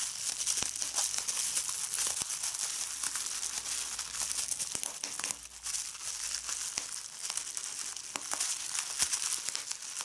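A hand crumples and squeezes a sheet of clear plastic bubble wrap, popping bubbles. There is a continuous bright, crinkling hiss with frequent sharp pops scattered throughout. The level stays fairly steady, dipping briefly around the middle.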